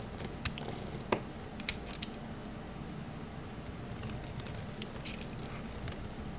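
A small solid purple bar of soap is held in the hand while its surface is shaved into crunchy curls with a metal utility knife blade. Quiet, dry scraping and crackling runs throughout, broken by sharp, bright crunchy clicks early on that fade into a steady soft rasp with faint patter.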